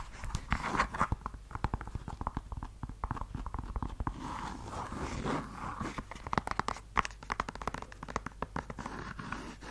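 An empty red suede stiletto pump is tapped and scratched with long yellow nails on the suede and along the edge of the sole. Quick, dry taps and clicks come in rapid bursts over soft, scratchy rubbing, centered in the midrange with almost no ring after each hit.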